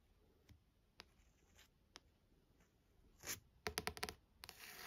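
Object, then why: Paperback book with card cover. Long nails tap and scratch the card front cover of a paperback novel. Soft, sparse taps in the first two seconds give way to louder, bright scratching bursts near the end, all dry with no ring.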